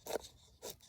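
Two short, dry taps on a freshly split oak board meant to become a bow drill fireboard, each a brief knock with a hollow, mid-pitched tone and no ring. The clear, resonant sound shows the oak is dry.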